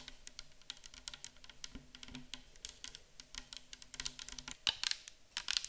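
Long acrylic nails tap rapidly on a clear 500 ml plastic micellar water bottle full of liquid, first while it sits on a table and then while it is held in the hands. The result is a dense, irregular stream of quiet, bright, crisp clicks that die away almost instantly, with a faint low hum underneath.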